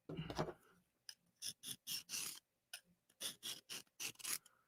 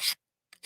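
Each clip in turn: First: soft steel knife blade. Second: hard, well heat-treated steel knife blade.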